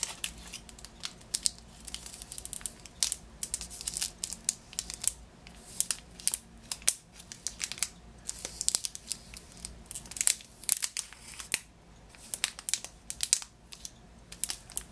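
Fingertips and nails tap and scratch the cellophane of a Positano lemon-shaped package standing on a table, producing dense, bright crinkles and sharp clicking taps. The sounds come in quick irregular bursts with very short decay, sitting almost entirely in the high range over a faint low hum.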